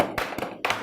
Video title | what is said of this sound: iKIDS S01 EP10 Baking | we're gonna just tap it gently till we hear it crack